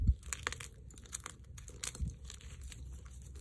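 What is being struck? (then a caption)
Magnesium carbonate gym chalk blocks. Chalk-covered fingertips and palms crush and rub brittle, dry chunks of white magnesium carbonate gym chalk blocks and powder in a dark bowl. A dull low thump opens a run of soft, quick crunches and crumbling crackles, with bright gritty flecks over a low rumble. The pieces break down into a steady, quiet crumble.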